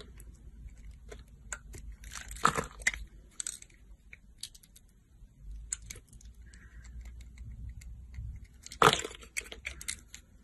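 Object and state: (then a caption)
Soap bar being sliced. A solid translucent green soap bar with a pre-scored surface, held in the hand, is sliced into thin strips with a yellow box cutter blade. Quiet scraping and crisp cracking cuts sound throughout. Two louder, sharp crunches stand out near the start and near the end.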